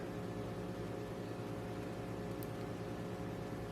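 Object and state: Nothing is struck.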